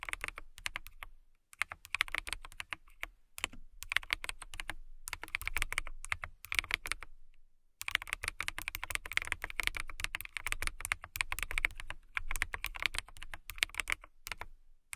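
Fast typing with long nails and fingertips on a transparent acrylic mechanical keyboard with clear plastic keycaps. It makes a steady stream of bright, dry clacks that stop short with no ring, centered around 2.3 kHz. The bursts pause briefly near 1 and 7.5 seconds before picking back up.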